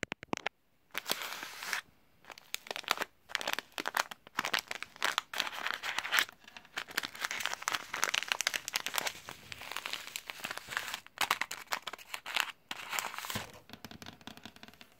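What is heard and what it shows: A small, flat, sealed Quaker Oat So Simple paper/foil sachet filled with oats, lying on a table, is scratched and tapped with long blue-painted nails and fingertips. The result is bright, crinkly scratching and crackling in dense bursts separated by brief pauses, with sharp taps and almost no low end.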